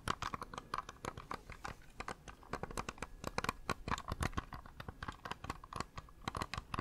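A small, hollow, cream-coloured plastic computer mouse is held in one hand close to the microphone while its buttons are clicked over and over with the fingertips. The result is a rapid, uneven stream of short, dry clicks with a light hollow ring near 1.1 kHz and bright, crisp edges that die away almost instantly.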